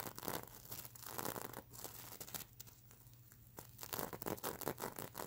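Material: Plastic sequins.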